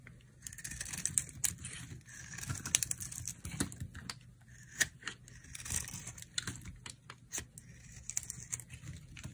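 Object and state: Dry soap bar being scraped.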